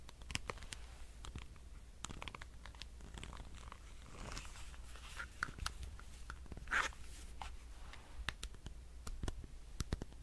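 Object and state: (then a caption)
Plastic power bank. A black handheld power bank with a solid plastic case is tapped and scratched with fingernails. Sharp, dry clicks and brief scratchy rasps sound over a low steady hum. The taps stop almost instantly with no ringing.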